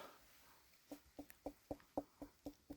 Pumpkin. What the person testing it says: it sounds Hollow